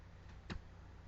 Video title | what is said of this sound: Full PEDS EXAM smaller PRACTICE- STUDENT | the sound changes to a dull sound and that's good which means I hit something solid